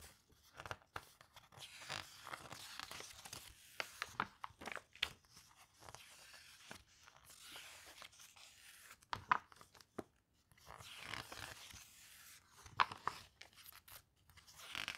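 A glossy paper brochure is held open in both hands while fingertips turn and rub its pages. Soft, bright crinkling and swishing rustles come in uneven bursts, punctuated by a few sharp, short clicks as pages flip. The overall sound stays quiet and close.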